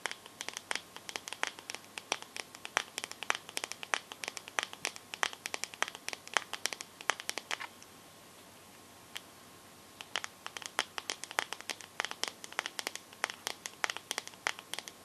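Long nails tap and scratch the glass back of a teal smartphone with a metal frame, held sideways. Rapid, sharp, bright clicks come in quick irregular bursts with a faint steady tone underneath. The tapping stops for about two seconds in the middle, then resumes just as quickly.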